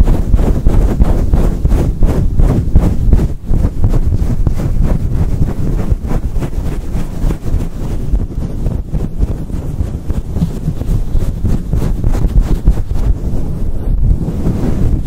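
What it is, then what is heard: Faux fur microphone windscreen scratched. Fingertips of both hands scratch and rub fast over a fist-sized, fluffy synthetic faux fur windscreen covering a hollow microphone, in dim blue light. The result is a dense, continuous low rumbling and muffled scratching, with rapid, irregular strokes that sit almost entirely in the deep bass and have no bright content.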